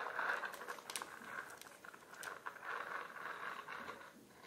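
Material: Plastic.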